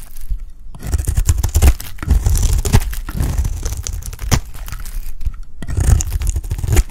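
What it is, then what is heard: Dry soap bar being shaved. A round, solid, dry cream soap bar is shaved with a box-cutter blade, forming curls as it goes. Dense, crackly scraping and tearing runs through the clip over a heavy low rumble, with brief near-silent gaps early on and again near the end before the shaving resumes.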